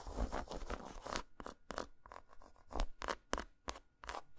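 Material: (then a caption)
Chocolate. Long nails scratch rapidly across a solid, segmented dark chocolate bar lying flat on a towel, making a dense, dry scraping sound for the first second. This is followed by a run of short, separate taps and scratches. Each burst is brief and bright with a soft low thud underneath, and none of them ring on.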